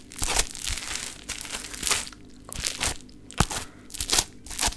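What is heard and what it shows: A solid, sticky, beaded pink lump of play foam (foam bead modelling clay) is pressed and pulled with fingertips and long nails. It gives bursts of bright, crisp crackling and crunching with a few sharper snaps, separated by quiet gaps. Each crackle dies away almost at once, with a faint low rumble underneath.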